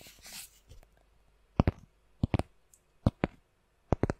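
A round, solid cork coaster is held by its edge and scratched with long nails across its rough surface. A soft, brief scratchy rustle opens the clip, followed by nine short, dry, clicking scrapes in quick pairs and clusters, each dying away almost instantly with a low, muted body.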